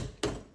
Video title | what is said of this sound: Watermelon Agua Frescas | you thump it and it sounds like a dog barking that is the right way to pick the melon